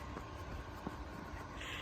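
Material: Nothing is struck.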